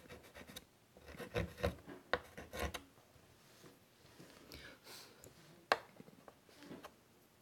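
A white chalk stick is drawn across a large, flat chalkboard in a light wood frame in repeated scratchy strokes. Short bursts of dry, gritty scraping come and go with quiet pauses between them, and one sharp, bright tap stands out near the end.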